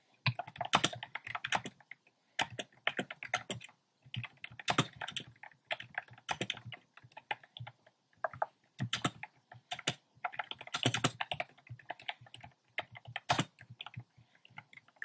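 Fingertips type on a compact plastic mechanical keyboard with a black plastic case and round pastel plastic keycaps. Quick bursts of crisp, clacky keystrokes come with brief pauses between them. Each press has a short, bright click over a soft, low thud.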